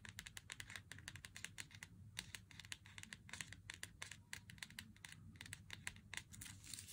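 Fingernails tap rapidly along the edge of a Meiji Black chocolate bar's cardboard box, producing dozens of crisp, bright, dry clicks over a soft low hum. The box flap is then opened to show the foil-wrapped bar inside.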